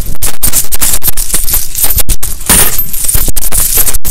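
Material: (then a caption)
Metal. Gloved fingers sweep, stir and rub through a large loose pile of dirty mixed US coins (copper pennies and nickel-clad coins) spread on a towel while cleaning and drying them. The small solid metal coins clink and jingle together in a dense, continuous bright rattle, broken by a few brief pauses.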